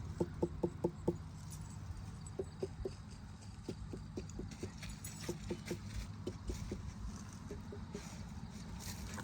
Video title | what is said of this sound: 8/27/23 Farm Garden Tour | that one is close to the ripe sound